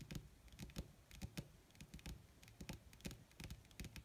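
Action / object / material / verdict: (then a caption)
tap / leather sheet / leather / none. Long red nails tap rapidly with their tips on a flat, wrinkled black leather sheet (possibly faux), using both hands. About nineteen quick, quiet taps are heard, each a soft low thud with a bright, dry click on top. The taps stop dead with no ringing.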